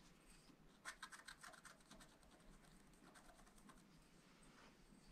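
A pointed wooden stylus scratches short strokes into the black coating of a flat scratch-art paper sheet in a spiral pad while the other hand steadies the pad. Quiet, dry scratching is heard, with a burst of quick, bright strokes around the one-second mark, then softer, steadier rasping over low background noise.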